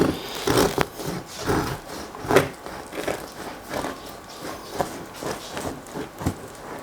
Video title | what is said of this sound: Cómo EVITAR un pan CORTO de FERMENTACIÓN | la que se ha quedado corta no cruje y queda bastante regular